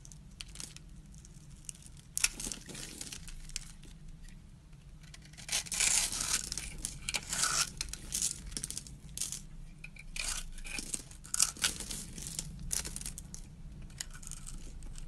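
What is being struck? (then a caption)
Bar of soap. A metal blade scrapes across the pre-scored surface of a solid teal soap bar held in hand, making small soap cubes and crumbs break off. Bright, crisp scraping and crumbly crackles come in bursts, loudest around the middle and again near the end, over a faint steady low hum.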